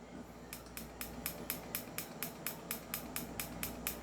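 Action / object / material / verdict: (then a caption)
shake / airsoft pistol slide and frame, metal / metal / loose. A stock, non-upgraded silver 5.1 Trex Hi-Capa airsoft pistol is shaken, and its metal slide rattles against the frame in about 15 quick, bright clicking bursts over a steady low hum. The slide is loose.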